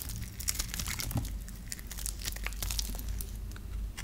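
A hand-held, dry, solid lime-green bar of soap is scraped and carved with a metal knife blade, breaking off crumbly shavings. Dense, dry crackling and crunching scrapes come in quick bright bursts over a steady low hum throughout.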